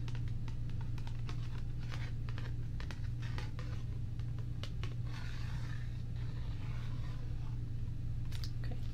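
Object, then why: Thin cardstock paper card. A flat, thin, solid purple printed cardstock card is held in both hands and tapped and scratched with long painted nails. Quick, crisp taps click at an uneven pace over a steady low hum, and a stretch of brighter, papery scratching runs through the middle of the clip.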